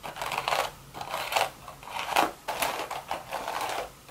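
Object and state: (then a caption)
Woven straw hat. Long red nails rapidly tap and scratch the crown of a hollow, empty woven straw hat. The result is a run of dry, crackly scratching bursts that rise and fall in uneven waves, bright and papery with almost no low end. Each burst dies away quickly.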